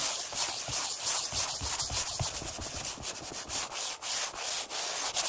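Flat palms and fingertips rub and pat quickly on a black padded Flybird workout bench seat made of vinyl over foam. The result is a continuous bright, hissy friction sound with soft, dull thumps scattered through it at a fast, uneven pace.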